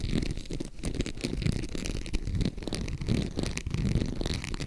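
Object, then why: Embossed faux leather zip purse. Long acrylic nails tap and scratch the textured front of a small, hollow green faux crocodile-embossed leather zip purse. The result is a steady, dense run of dry, short-lived taps and rough scratching, heavy in low, hollow thuds with only faint bright crackle on top.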